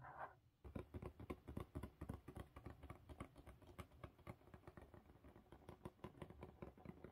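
Long pink nails on both hands scratch and tap the lid and top edge of a closed blue corrugated cardboard mailer box. The result is a quick, uneven stream of short, dull, low taps mixed with soft scratching, each tap dying away almost at once.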